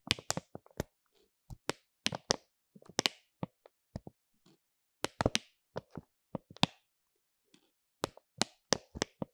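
Fingertips and nails tap and scratch the top of a stack of flat, filled, paw-shaped hand and nail mask sachets made of laminated plastic and foil, resting on a fluffy cloth. Sharp, dry, bright taps and clicks come in quick clusters with short, soft crinkly scratches between them, each hit dying away almost instantly.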